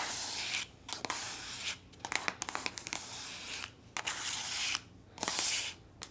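Long nails rub and scratch the surface of a soft plastic body lotion tube that appears full. Bright, hissy scratching comes in long bursts separated by brief quiet gaps, with quick sharp clicks and taps scattered between them.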